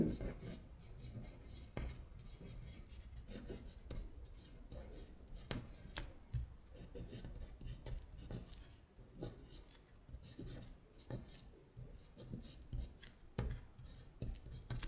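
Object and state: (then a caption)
Paper sheet scratched with a fingernail. A long acrylic nail traces and scratches over the Korean words on a thin paper electronics-vocabulary worksheet lying flat. The result is a quiet run of dry, rasping scratches, with repeated short strokes and occasional sharper bright ticks over a low, muffled rubbing.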